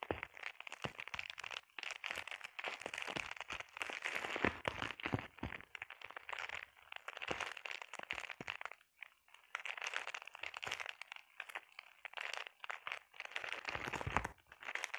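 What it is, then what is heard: Plastic bubble wrap. Long painted nails scratch and tap across a flat sheet of clear plastic bubble wrap, making dense, bright, crinkling crackles and quick taps that die away almost instantly. The busy texture runs steadily, with a brief lull near the middle before it picks up again.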